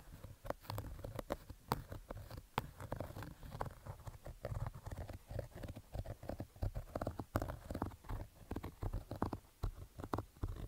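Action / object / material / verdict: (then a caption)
scrape / fabric baseball cap / fabric / none. Fingertips scratch the fabric of a black Adidas baseball cap with stitched panels, resting on carpet, with the hand at times covering much of the cap. The result is a rapid, uneven run of short, dull scratching strokes, heavy in low rumble with little brightness, each stroke dying away almost at once.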